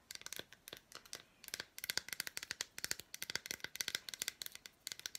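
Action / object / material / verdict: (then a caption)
tap / milk chocolate bar with fruit pieces / chocolate / none. Long black nails tap and scratch a handheld, unwrapped solid milk chocolate bar with red fruit bits. About thirty quick, dry, bright clicks and scrapes come in uneven bursts with short pauses, with almost no low end and no ring after each hit.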